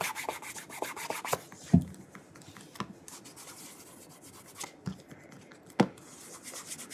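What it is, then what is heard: Leather dress shoe being rubbed. Fingertips rub polish along the heel counter and side of a burgundy calf leather oxford dress shoe as it is held and turned in the hand. Soft, bright rubbing and squeaky swishes run throughout, broken by a few sharper low thumps as the shoe shifts in the grip.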